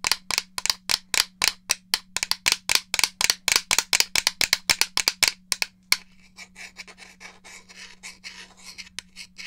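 Fingernails tap rapidly on a hollow grey plastic N64 game controller, giving sharp, bright clicks for about six seconds, then a softer, quieter stretch of lighter tapping and scratching. A steady low hum runs underneath throughout.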